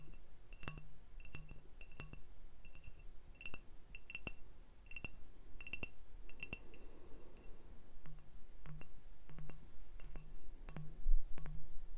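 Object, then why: Glass beer bottle. Glass beer bottles are tapped, giving many quick, bright clinks with short ringing tones over a soft low hum. The taps come in an uneven, steady stream throughout, each one fading almost at once.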